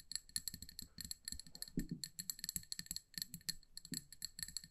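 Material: Glass.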